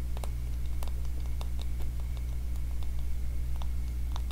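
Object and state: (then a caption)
Wooden wide-tooth comb, teeth plucked. Fingertips and nails run across and scratch the teeth of a small, solid, light-wood wide-tooth comb held up in front of the face, plucking them. Faint, irregular dry ticks and soft scratchy clicks are scattered over a steady low hum that dominates the sound.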